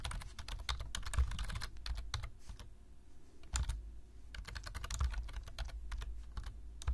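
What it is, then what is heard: Plastic computer keyboard. Fingertips of both hands tap steadily on a black plastic low-profile computer keyboard while typing. The result is a fast run of short, crisp key clicks with a bright edge over a soft low thump. The typing briefly slows near the middle before resuming.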